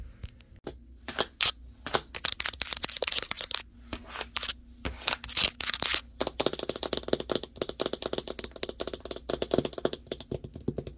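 Long nails and fingertips tap fast on the printed side panel of a large, hollow cardboard TV box. The taps are sharp, dry, and bright, with almost no ring, over a faint low hum. They start scattered, then turn into a dense, rapid patter in the second half.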